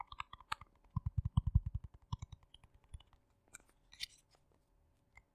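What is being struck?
Small plastic jar.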